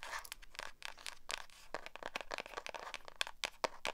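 Long acrylic nails rub and scratch the matte cover of a small black hardcover spiral notebook held up in the air. The result is a rapid string of dry, bright scratching bursts with a papery, rasping texture and no ring after each stroke.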